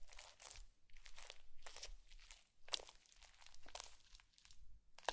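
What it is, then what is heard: Foam bead slime. A bamboo fork is poked repeatedly into a blue foam bead slime patch on a white plate, leaving the surface dimpled. Each poke brings a burst of soft, bright crunching and crackling as the beads squish and pop, then a short quiet before the next.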